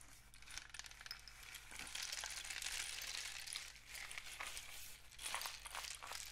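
A long, hollow, painted cardboard rain stick with mesh-wrapped ends is tilted upright and then held horizontally, sending its loose grains cascading through the tube. The result is a bright, continuous patter and hiss of falling grains that swells and fades in waves over a faint, steady low hum.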